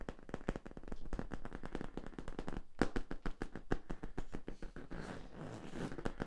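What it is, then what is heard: Corrugated plastic tube. Fingertips tap and scratch the labeled end cap and ridges of a hollow yellow corrugated plastic tube. A rapid run of short, dry, hollow taps with a low-heavy body and almost no ring gives way around the fifth second to a softer, rasping scratch before the tapping resumes.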